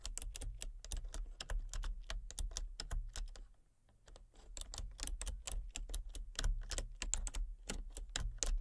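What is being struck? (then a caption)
Plastic computer keyboard. Rapid fingertip and long painted-nail taps on a full-size backlit plastic RGB computer keyboard with hollow key switches and colour-cycling lights. Short, bright clicks come in quick runs with a brief pause in the middle. A steady low hum sits underneath.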